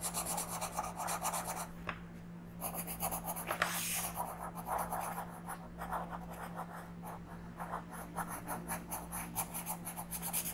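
A wooden orange colored pencil makes small, scratchy coloring strokes on a thin paper sheet of a coloring book lying flat on a table. The quick, bright scratching strokes come in dense, rhythmic bursts with brief pauses, over a faint, steady low hum.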